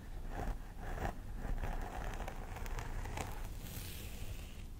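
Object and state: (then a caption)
Plastic doll head with synthetic hair, scratched. Long nails on both hands scratch the scalp near the part of a life-size plastic doll head with synthetic hair. The sound is a steady, crisp rustling and scratching over a low rumble, with brief brighter scrapes rising here and there.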